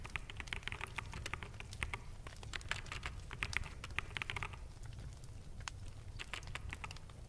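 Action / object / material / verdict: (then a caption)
tap / plastic mechanical keyboard / plastic / none. Fingertips of both hands tap continuously on the hollow keycaps of a full-size black plastic mechanical keyboard. The result is a dense, quick patter of short, dry clicks with bright, high tops over a low, steady hum underneath.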